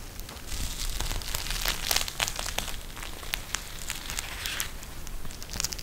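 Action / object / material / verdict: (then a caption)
scrape / gel bead eye mask with plastic cover / plastic / none. A pink eye mask with a clear plastic shell filled with gel beads and a fabric trim is held, bent and squeezed in the hands. It gives off dense, irregular crinkling and crackling with bright, sharp ticks over a low rumble. The snaps swell and fade unevenly throughout.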